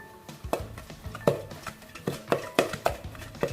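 A saucepan of cooked choux pastry dough (panade) is shaken so the dough slides as one mass, making a series of dull, hollow knocking thuds against the pan. This knocking shows the moisture has been driven off and the panade is dried and ready, with a residue film left on the bottom of the pan as the other sign.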